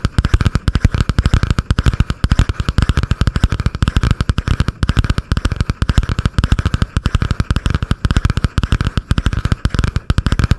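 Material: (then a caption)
Cardboard. Long painted nails rapidly tap and scratch a butterfly-print spiral notebook with a cardboard cover held above a microphone. A dense, continuous stream of short, deep, thumping taps rolls on with a steady scratchy rasp in the middrange underneath. Each tap cuts off almost instantly.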